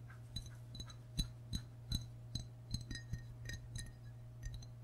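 Fingertips and short nails tap the white belly and sides of a hollow glazed ceramic frog mug held in both hands. The taps come in an irregular series of light clinks, each with a bright, glassy ring that dies away almost at once. A steady low hum runs underneath throughout.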